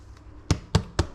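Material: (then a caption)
Bread. A spelt bread loaf with roasted almonds and sultanas is turned over and knocked three times on its bottom, giving short, dull, low thumps. The hollow sound shows the loaf is baked through.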